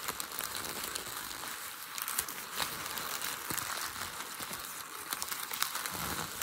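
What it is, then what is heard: Crumpled packing paper. A hand squeezes and rubs crumpled, creased light grey packing paper on a desk. The result is a steady, dry crinkling rich in high, bright hiss with little low end, broken by brief sharp crackles and snaps throughout.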